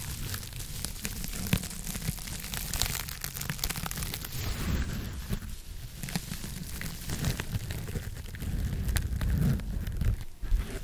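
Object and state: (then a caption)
Foam scrub sponge. A hand-sized, soft blue textured foam scrub sponge is scratched with long acrylic nails close to the microphone. The sound is a steady, dense crackling scratch with a strong low rumble and bright, sharp ticks scattered throughout.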